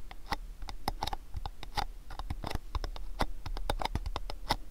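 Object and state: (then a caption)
Cardboard gift box. Fingernails tap rapidly on the front face of a long rectangular cardboard gift box held in both hands. The result is a quick, uneven patter of short, dry, clicky taps, each with a hollow mid-pitched tone that dies away almost at once over a faint low rumble.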